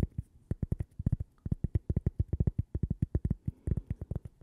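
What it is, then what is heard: Cork coaster. A small, thin, solid, toaster-shaped cork coaster with a logo is held in the hands and tapped and scratched with long purple-painted fingernails. About 29 quick, dull, low thuds come in an irregular rapid rhythm, each dying away almost instantly with no ring.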